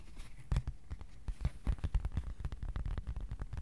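A thin, flat white cardboard sheet about A4 size, held in both hands, is tapped with the fingertips in a quick, uneven run of taps. Each tap is a soft, dull, low thump that dies away almost instantly, with a faint papery tick on top and a few louder knocks scattered through.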